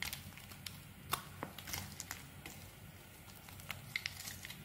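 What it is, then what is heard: Soap bar being shaved. A small metal blade scrapes across the face of a solid, rectangular, cream-colored bar of soap held in one hand, shaving off curled flakes that pile up on the table. Soft, dry crinkling and scraping come with bright, crackly ticks and a few sharper snaps over a low, steady rumble. The flakes come away quietly and without ring.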